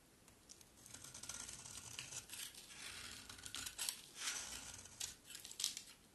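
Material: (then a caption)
Soap. A utility knife blade scrapes and cuts shavings from the edges of a solid green dry soap bar held in the hand. Quiet, bright, crisp scraping and crackling comes in a steady series of short strokes, with a few louder cuts near the end and almost no low end.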